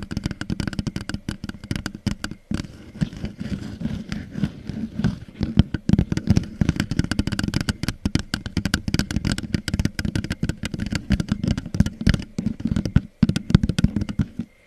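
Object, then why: Thin plastic cup. Long nails rapidly tap and scratch the hollow, thin walls of an empty red plastic party cup turned upside down over the microphone. The result is a dense, continuous stream of dry, clicky taps with a low, boomy hollow resonance and brief scratchy rasps. The activity pauses briefly near 2.5 and 13 seconds.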